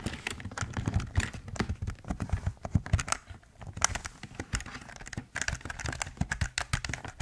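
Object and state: Plastic computer keyboard.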